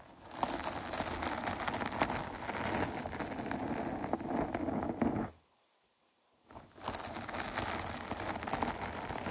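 Long nails scratch down over the rounded top of a dark foam microphone windscreen, making a dense, crinkly, rustling scrape with frequent small crackles. The scratching briefly stops for about a second of silence, then resumes at the same steady level.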